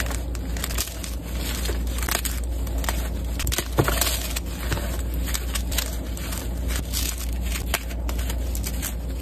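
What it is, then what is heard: Gym chalk block being crushed. Pieces of a solid white gym chalk block (magnesium carbonate) are held and crushed between two hands with red-painted nails, crumbling into powder over a dark surface covered with chalk pieces. A dense, continuous crackling and crunching runs throughout, with bright, gritty crumbles over a steady low rumble and a few sharper snaps.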